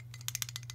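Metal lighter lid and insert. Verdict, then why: Loose. A brand-new brushed-chrome Zippo lighter is shaken, and its loose lid rattles against the insert in a quick series of light, bright metallic clicks over a steady low hum. The play in the lid is normal for new lighters and nothing to be alarmed about.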